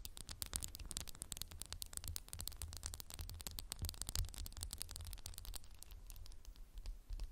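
A candle in a textured glass jar is tapped rapidly with fingernails, producing a dense stream of quick, bright, clicky taps with almost no ring. A steady low hum sits underneath the quiet, continuous tapping.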